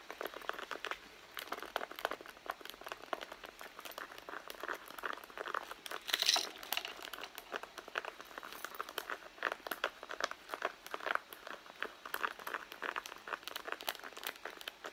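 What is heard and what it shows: Long blue nails scratch the pebbled leather panel of a red leather handbag lying on its side. A steady run of quick, dry, crinkly scratches fills the clip with bright, thin texture and almost no low end, with one louder, sharper burst around the six-second mark.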